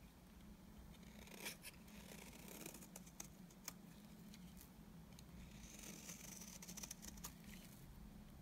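A utility knife blade scrapes curls off a solid, dry, beige oval bar of soap, making soft, crisp scraping and crinkling sounds. Sharp, bright ticks and snaps break in at intervals over a steady low hum throughout.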